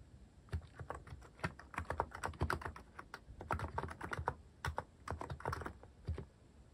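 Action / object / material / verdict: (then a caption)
tap / plastic mechanical keyboard / plastic / none. Fingertips type on a cream plastic-cased mechanical keyboard fitted with cat-themed plastic keycaps. The keys give a quick, uneven run of short, dry clacks with a soft low thock beneath each stroke. Every press dies away almost at once, leaving only a faint quiet hiss between the keystrokes.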